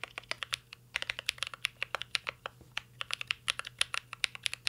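Fingertips type continuously on a mint-green Cyberboard R3 mechanical keyboard with plastic keycaps and an aluminum case. About 34 short, bright clacks follow in a quick, uneven rhythm, each dying away almost instantly. A faint, steady low hum sits underneath.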